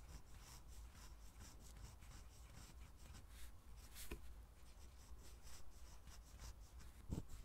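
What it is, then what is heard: Fountain pen writing on a paper pad. A steel-nib fountain pen, held in the hand, writes continuous cursive on an Oxford lined paper pad lying flat on a table. The nib gives a soft, steady scratching and rubbing across the paper, with bright, rhythmic strokes. A low hum sits underneath, and two sharper ticks stand out near the middle and the end.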